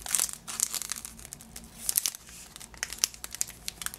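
Fingers crinkle and scratch the green cellophane wrapped around a yellow lemon-shaped Positano item tied with a ribbon. Bright, crackling crinkles come in quick bursts with brief scratchy rustles between them, and each one cuts off sharply with almost no low end.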